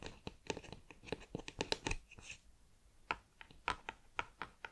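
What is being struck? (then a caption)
Cardboard snack tube. Long nails tap and scratch the lid end of a cardboard crisp tube held horizontally. A quick, busy run of dry, bright clicks and scratches fills the first two seconds, then after a brief hush sharper, more spaced taps follow. Each tap dies away almost instantly.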